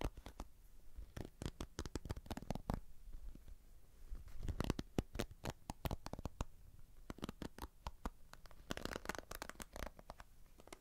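Fingertips and nails tap and scratch the bristles and plastic back of a hand-sized red plastic paddle hairbrush with a cushioned bristle pad, held in one hand close to binaural microphones. The result is a quick, irregular stream of short, dry taps and scratchy rustles with a soft low thump under bright, clicky edges. Each sound dies away almost instantly.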